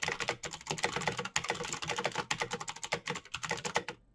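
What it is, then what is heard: Plastic mechanical keyboard. A backlit plastic Razer BlackWidow mechanical keyboard with clicky green switches is typed on fast with the fingertips of both hands. A rapid, dense stream of bright, sharp clicks follows with no pauses, each keystroke decaying almost instantly.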